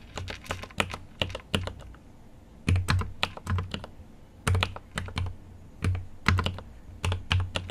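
Fingertips type on a GMMK Pro mechanical keyboard with an aluminum case and plastic keycaps, producing quick bursts of keystrokes separated by short pauses. Each press has a deep, low thock with a bright clack on top and dies away almost immediately.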